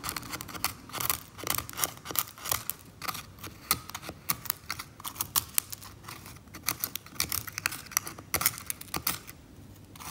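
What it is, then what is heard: Varnished oil painting surface. A small metal scalpel scrapes thick brown varnish off the top edge of an old oil painting lying flat on a table. It makes a quick, irregular run of short, dry, bright scratching strokes with almost no ring, some louder and crisper than others.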